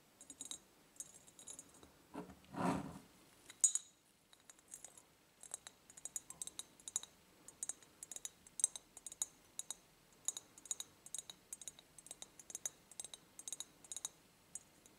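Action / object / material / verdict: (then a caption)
tap / ribbed glass jar / glass / none. Long painted nails tap and click on a medium ribbed clear glass jar, empty and hollow and tilted forward. Quick, bright glassy clicks follow in a steady, uneven stream with very little ring. A brief, louder, broad swishing burst comes near the start.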